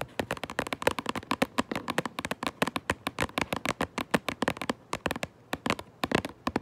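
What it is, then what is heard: Cardboard box tapped with fingernails. Long nails tap quickly on the front of a cardboard Minecraft Lego box held up close, producing about 39 short, dry clicking taps in an uneven rhythm. Each tap is crisp and bright with a hollow papery body and almost no ring, and the taps sometimes cluster into quick flurries.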